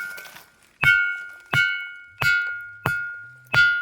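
A ringing basalt rock, formed from basaltic lava about 200 million years ago and containing ferric oxide, is struck five times at a steady pace. Each strike gives a sharp attack and a clear metallic ring, with a pitch of about 1.4 kHz, a brighter overtone near 2.2 kHz, and a quarter-second decay.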